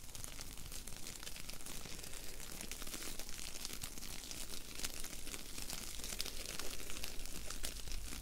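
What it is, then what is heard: Foam bead clay being squeezed. A small, solid ball of blue foam bead clay is pinched, squeezed and rolled between the fingertips and long nails of both hands. It gives a steady stream of crunchy, crinkly bead crackles with bright, sharp ticks, over a constant low hum.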